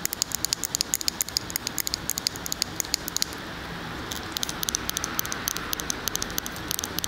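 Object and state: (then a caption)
Glass candle jar. Long fingernails tap quickly on a large glass candle jar filled with solid wax, which is held on its side. The taps are short, bright clicks with almost no ring, heard over a steady soft hiss. They pause for about a second midway, then resume.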